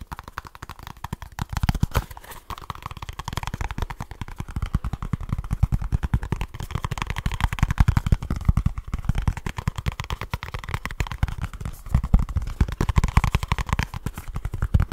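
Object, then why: Small cardboard box. Fingertips and short nails tap and scratch very fast on a small kraft cardboard product box. The result is a dense, continuous stream of dull, hollow thumps that are mostly low and die away at once, with a faint papery scratch riding above them.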